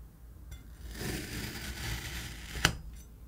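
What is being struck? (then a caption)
Block of kinetic sand cut with a steel knife. A steel kitchen knife presses down through a palm-sized, solid block of yellow-green kinetic sand, cutting it into slices. A soft, grainy hiss builds and holds as the blade sinks through the sand, then ends in a single sharp, bright click with almost no ring.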